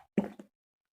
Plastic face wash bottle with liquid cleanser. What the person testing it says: this look really really light you can hear the sound